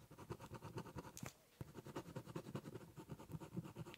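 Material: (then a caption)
Cardboard. The tip of a ballpoint pen scratches across a large, hollow, brown corrugated cardboard box while drawing a zigzag line along its edge. A quiet, rapid series of dry, scratchy strokes has a dull, hollow low body, with a brief pause just before the middle as the pen lifts. The strokes then resume at a steady rhythm.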